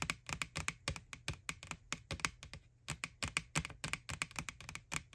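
Long nails tap rapidly on the printed face of an empty, white, hollow plastic ghost Halloween bucket from McDonald's. The light, bright clicks each die away almost instantly over a faint hollow low thump, with a brief pause midway before the tapping resumes.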